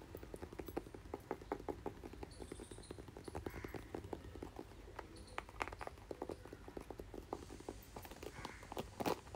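A red, hand-sized plastic paddle hairbrush with a hollow-backed head and a thin handle is held in one hand near the microphone. The fingertips and nails of the other hand tap and scratch its back and bristle pad. The result is a fast run of light, dry clicks and taps with brief scratchy, bright swishes over a soft low rumble.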